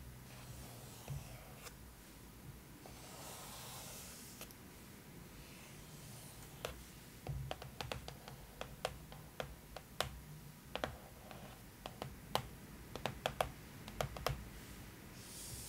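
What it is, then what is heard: Hardcover book cover tapped with fingernails. Long manicured nails and fingertips trace, rub and tap across the dark, glossy-looking printed front cover of a large, thick, closed hardcover art book with a paper-over-board cover, *Game of Thrones: The Costumes*, lying flat. Soft, airy rubbing and brushing sounds fill the first half. These give way to a run of sharp, dry, bright nail taps and clicks over a quiet background.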